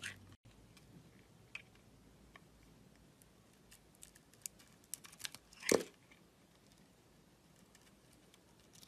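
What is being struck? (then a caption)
Bar of soap scraped with a metal blade. A utility-knife blade shaves and scrapes a thin layer off the green side of a solid striped Palmolive soap bar held in a hand with long red nails. Quiet, sparse, dry scraping ticks are heard, building to one louder crisp shaving crunch near the end before settling back to near silence.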